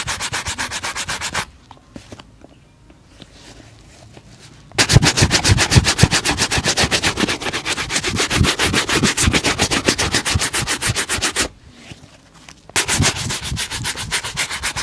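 A single black leather dress shoe, hollow and empty, is held in one hand and vigorously brushed across its upper with a bristle shoe brush held in the other. Fast, rhythmic, bright scratchy strokes come at about four per second in three bursts, separated by two brief quiet pauses.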